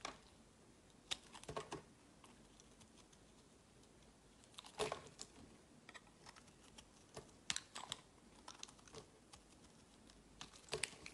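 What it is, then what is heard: Bar soap being shaved. A metal utility knife blade shaves and scrapes flakes from a palm-sized, solid oval blue soap bar with a scalloped edge, held in the hand. Soft, crisp scraping and crackly shaving sounds come in short, bright, irregular bursts over quiet pauses, with a few louder cuts near the middle and end.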